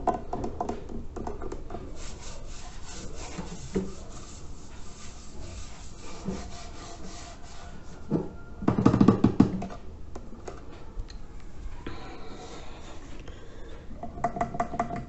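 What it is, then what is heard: Terracotta clay water filter. A hand rubs the outer surface of a large hollow reddish-brown fired-clay water filter (a Brazilian filtro de barro) with red bands and a label, standing against a green wall, using the fingertips and palm. The result is a continuous dry, scratchy rubbing texture, mostly low and mid, that swells into a louder, fuller scrape about midway before settling back into soft brushing strokes.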